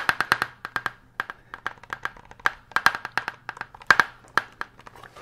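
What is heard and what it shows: Fingertips and nails tap and scratch the cranium of a life-size hollow plastic human skull model held up by one hand. A fast, irregular run of some two dozen dry, hollow clicks centred around 1.1 kHz dies away almost instantly, with a bright scratchy edge on the sharper hits.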